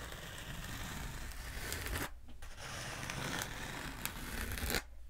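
A long black hollow foam pool noodle, held upright and at a diagonal, is scratched and tapped with long nails. The sound is a dense, bright rasping scratch over a low rumble. It breaks off briefly near the two-second mark, resumes, and ends abruptly just before five seconds.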